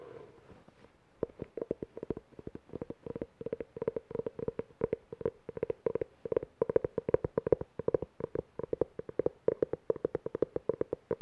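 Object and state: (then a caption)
Cloth-covered hardcover book. Fingernails quickly tap and scratch the cover and spine edge of a navy-blue cloth-covered hardcover book held close. After a soft scratchy rustle, a fast, steady stream of short, dry, mid-pitched taps begins and runs to the end. The taps stop dead with no ringing.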